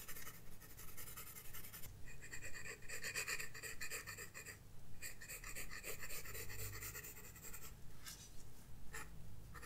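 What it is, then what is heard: Pencil on paper sketchbook page. A graphite pencil scratches strokes across a flat paper sketchbook page, making a steady, dry, bright rasping texture in continuous bursts with brief pauses between passes. A soft low rumble sits underneath throughout.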